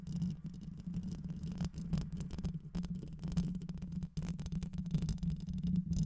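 Long white nails scratch quickly across the rounded metal mesh grille of a black microphone with a hollow head. This makes a dense, low, rumbling scratch over a steady hum, with rapid strokes that swell and fade and a brief drop in level just after four seconds.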